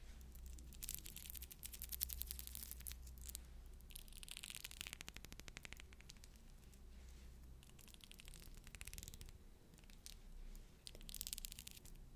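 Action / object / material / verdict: scrape / pearl bead necklace / pearl beads / none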